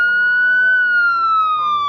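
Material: Nothing is struck.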